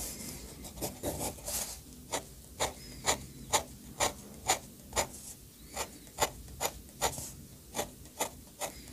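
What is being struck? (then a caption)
Metal pen nib on thick sketchbook paper. The metal nib of an orange fountain pen scratches across the thick paper page of a bound sketchbook lying flat, drawing ink lines and hatching. Short, bright, raspy strokes repeat at a steady pace of about two per second over a quiet background. The first second or two is a denser, blurred run of scratching.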